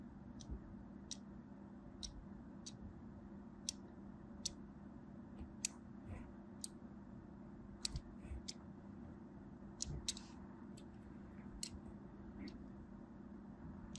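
A small black blade scores lines across the surface of a solid purple and white striped bar of soap held in the hand. Each cut makes a short, sharp, bright scratching click that repeats at uneven intervals over a steady low hum.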